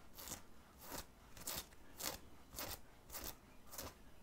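Fingertips and nails scratch the printed area of a black cotton graphic t-shirt, worn under an open black zip hoodie, in short strokes over the soft fabric on the chest. Seven quiet, bright, crunchy scratching bursts repeat at a steady, unhurried pace, each fading quickly.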